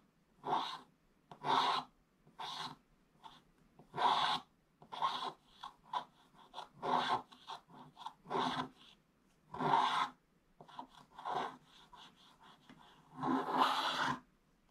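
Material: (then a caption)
Coated paper. A wooden stylus held in the fingers scratches the black wax-like coating off a Paw Patrol scratch-art page in a book, a thin, flat card with a colored print underneath, leaving flakes piled around it. About 19 short, dry scraping strokes come in separate bursts with quiet gaps between them. Each rasp centers near 900 Hz with bright, hissy edges and almost no low end.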